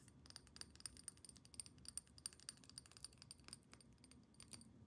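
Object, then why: Small glass perfume bottle with metal cap. A small square glass perfume bottle, partly filled with amber liquid and topped with a metal cap, is tapped quickly all over with long painted nails. The result is a quiet, rapid stream of sharp, clicky taps with a bright, high glassy ping that dies away almost instantly, over a soft low background hum.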